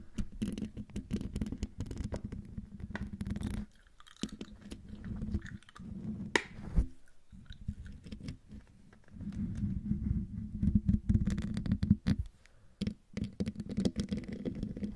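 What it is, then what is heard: Metal mesh microphone grille being scratched. Long dark nails scratch the top of the hollow metal mesh grille on a silver condenser microphone. Dense, close-up scratching and scraping with a low, boomy hum around 200 Hz comes in bursts, with brief quiet gaps and a few sharper taps.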